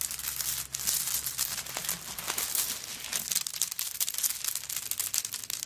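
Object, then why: Handbag covered in coconut shell chips. Long nails scratch and scrape across a flat-lying handbag covered in coconut shell chips. The result is a dense, continuous, bright crackle of rapid dry clicks and raspy scrapes with almost no low end and no ringing after each stroke.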